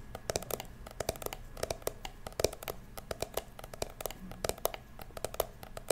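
Fingertips and long nails tap and scratch the ridged surface of a small, hollow, blue glitter plastic toy purse, making a rapid series of sharp, dry clicks. Each tap has a hollow mid-range tone with a bright edge and dies away almost instantly, with faint scratching between the taps.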